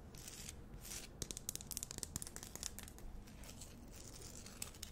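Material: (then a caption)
Rock salt. Long nails scratch the rough surface of a large, solid pink rock-salt Himalayan salt lamp held close to the mic. A quiet run of dry, bright scratches and crackly ticks forms a fast cluster in the middle, over a faint low rumble. Each scrape stops dead with no ring.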